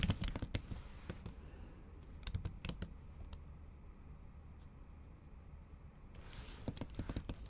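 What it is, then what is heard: Laptop keyboard under a silicone cover, typed on with long nails. Long acrylic nails type on a MacBook keyboard covered with a pink silicone keyboard cover, producing quick, dry clicks and taps with very short decay over a low steady hum. Bursts of typing at the start and end frame a quieter middle stretch with only scattered taps.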